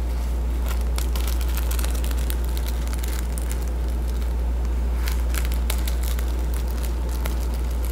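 Fingertips brush and scratch back and forth across a plastic sequin patch on the cover of a cardboard hardcover board book. The result is a continuous crackly, crinkling scratch with rapid bright clicks from the sequins, over a steady low hum.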